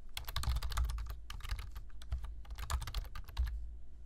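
Fingertips type on a black plastic computer keyboard, tapping the keys in rapid bursts of bright, crisp clicks over a steady low hum. The typing pauses briefly around the two-second mark, resumes, then stops just before the end, leaving only the hum.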